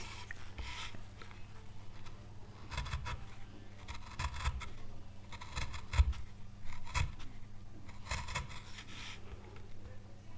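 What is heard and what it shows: A gouge rasps and scrapes across the oak leaf surface being carved into a small, solid, pale wood carving board. Short bursts of dry, bright scraping come in uneven strokes over a steady low hum, with a few sharper catches as the blade bites into the wood.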